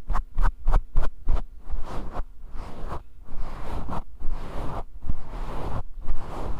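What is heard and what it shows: Fingertips and nails scratch and brush through a fist-sized grey faux fur microphone windscreen held close up. A run of quick, sharp scratching bursts gives way to longer, rustling swipes, heard as deep, muffled rumbling with a soft, airy hiss.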